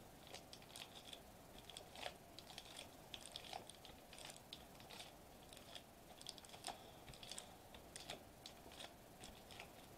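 Fingertips tap and press a flat silver metallized plastic foil bubble wrap sheet lying on a white table. A quiet, steady run of quick, crisp crinkly taps and small snaps follows, bright and dry with a slight mid tone, each one cutting off almost instantly.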